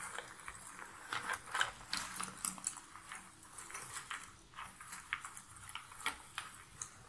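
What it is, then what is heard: Cardboard jigsaw puzzle pieces. Long-nailed hands rake through a pile of cardboard jigsaw puzzle pieces in a box lid, then pick up and rub a few pieces together. The result is a quiet, dry, papery rustle with irregular bright clicks and scratches, with almost no low end.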